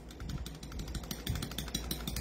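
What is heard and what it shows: The metal barrel of a non-upgraded Hi-Capa airsoft pistol is moved and shaken, producing a quick series of light, dry clicks and rattles over a low background hum. The barrel is loose and rattles, unlike an upgraded fixed barrel.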